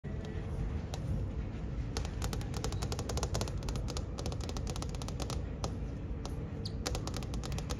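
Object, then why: Glass touchscreen panel. Long manicured nails and fingertips tap across the flat glass surface of a large, solid wall-mounted ship deck directory touchscreen. The sharp, brief clicks fall in quick, irregular runs over a steady low rumble.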